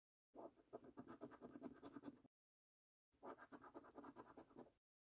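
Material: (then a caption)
Paper. A coin scratches the latex-coated panels of a thin paper £25 "5x £1 Million Prize Portal" National Lottery scratch card. Two separate bursts of quick, rasping scrapes are heard, each about one and a half to two seconds long with a short silence between them. The sound is a quiet, gritty midrange scratch with faint bright edges and almost no low end.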